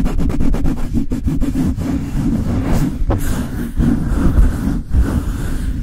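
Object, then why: Metal mesh microphone grille. Fingers and long nails rub and scratch the bare metal mesh grille of a Blue Yeti microphone, producing a dense, boomy low rumble with rapid scratchy strokes at the start. Sharper scraping bursts follow over a continuous, bass-heavy friction noise.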